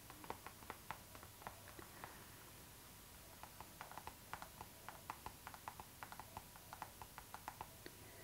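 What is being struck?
PVC plastic zipper pouch.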